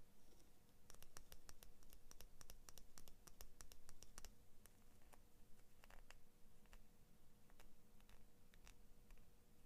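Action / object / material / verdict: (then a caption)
scrape / steel scissor blade scratched and tapped with fingernails / steel / none. Long painted fingernails scratch along the thin steel blade of small orange-and-blue plastic-handled scissors, close up. The result is quiet, irregular bursts of sharp, bright ticks and scrapes that die away almost instantly, over a low hum and a faint steady tone.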